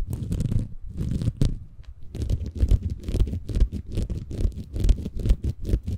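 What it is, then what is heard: Bamboo fiber sponge. A small, green, porous bamboo fiber sponge, soft and compressible, is held in both hands above a Tascam recorder while fingertips scratch and squeeze it. The result is a dense, irregular stream of muffled, low, rumbling scratches and crackles, with brief pauses near the start and again around two seconds.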